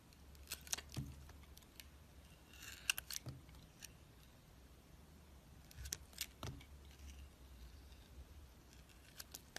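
A metal utility knife blade scrapes and carves away the green edge of a hand-sized, solid green oval soap bar with a black layer inside. Quiet, bright, crisp scraping strokes and sharp little clicks come in scattered bursts over a low steady hum, each cut stopping dead with no ring.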